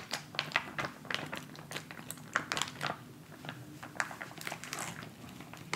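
A filled white plastic instant cold pack pouch resting on fabric is tapped and rubbed with fingertips and nails. Quick, bright crinkling taps and scratchy clicks come in irregular bursts over a quiet low hum, each one dying away almost at once.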